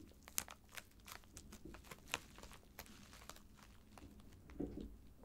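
Both hands tap, scratch and rub a filled white plastic poly mailer bag lying flat, using fingertips and nails. Soft, quiet crinkling and bright, scratchy ticks come through, with sharper crisp taps near the start and a short muffled rustle near the end.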